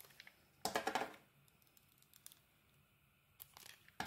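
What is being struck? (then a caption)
Bar of soap scraped with a knife blade. A utility knife blade scrapes and shaves the outer layer off a solid green dotted Fa soap bar held in the hand. A dense burst of crisp, crinkly scraping is followed by smaller, lighter shavings, then a final sharp scrape at the end, with quiet pauses in between.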